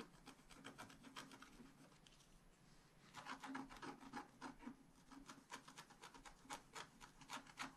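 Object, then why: Scratch art paper sheet with wooden stylus. A wooden stylus scratches repeated short strokes into the coating of a flat scratch art paper sheet, making dry, raspy, bright scraping bursts in a quick, uneven rhythm. The strokes soften briefly around the two-to-three-second mark, then return louder and sharper until the end.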